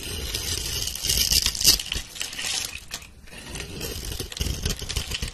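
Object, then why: Bar of soap scraped with a blade. A metal blade scores a grid into a solid rounded pink soap bar held by a hand with long red nails, then scrapes off small cubes and crumbs. Dense, crisp, bright scraping and crackling crunches run almost continuously, peaking midway, dipping briefly, then resuming.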